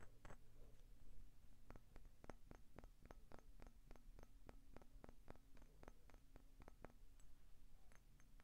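A vintage pale green glass Coca-Cola bottle, hollow with a small amount of liquid inside, is tapped and scratched with short painted fingernails on its embossed ridges, then tilted sideways at the end. Quick, sharp, bright clicks that fade almost instantly sound over a quiet, steady low hum.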